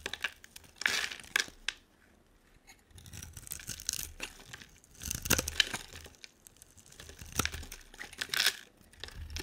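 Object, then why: Bar of soap scraped with a knife blade. A hand-sized solid purple bar soap with a dark coating is held in one hand and scraped and carved into thin shavings with a utility knife blade. Bursts of dry, crisp scraping and crackling, bright and mostly high-pitched, come in uneven clusters separated by short quiet pauses.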